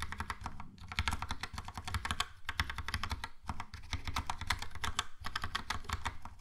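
Fingertips type quickly on a Logitech POP Keys plastic mechanical keyboard with a yellow plastic case and round plastic keycaps. The result is a steady run of crisp, short clacks over a low, thocky body, with brief pauses between bursts.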